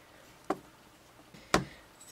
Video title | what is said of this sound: HTC HD2 Tour | you can hear that it's actually metal and not plastic